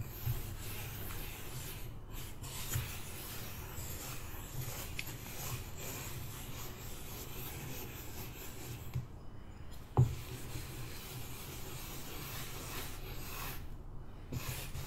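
A hand-held metal spoon scrapes and drags its bowl across a flattened layer of purple kinetic sand in a white plastic tray. The result is a steady, soft, low rubbing hiss, broken by a few sharper scraping ticks, with one brief louder click near the ten-second mark.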